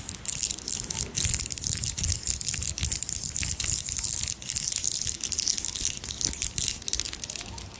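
A strand of small, round, solid pearl beads (real or imitation) is held in both hands close to the mic while the beads are rolled, scratched with long nails and clicked against each other. The result is a dense, continuous patter of sharp, bright clicks and gritty rattling with almost no ring, over faint low rumbling handling noise.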